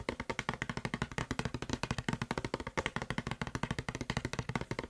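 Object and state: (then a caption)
Plastic spray bottle. Fingertips and short nails tap fast on the side and label of a hollow blue plastic Febreze spray bottle. About forty quick, dry taps follow one another in an even, rapid rhythm. Each gives a short hollow knock, mostly low-pitched, with a faint bright click from the nails that dies away almost instantly.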